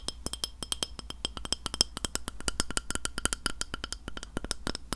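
Fingernails tap rapidly on a white glass plate, making a dense run of quick, bright clicks. Each tap is short and dry with a faint high ring, and the taps come in an uneven, fast rhythm over a low background hum.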